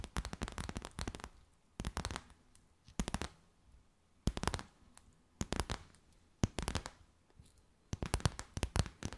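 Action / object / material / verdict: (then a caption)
tap / clear stiff plastic bag / plastic / none. A clear, stiff, empty plastic bag is stretched between the hands and tapped and crinkled with long white nails. Quick clusters of sharp, crisp crackling taps come in short bursts, separated by near-silent pauses.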